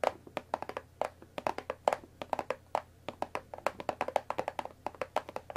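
Long nails tap quickly along the top edge of a hollow, rectangular cardboard Earl Grey tea bag box. About 35 short, dry clicks land in an uneven rhythm, each with a hollow midrange knock near 600 Hz and a bright tick. Every tap dies almost at once, with no ringing.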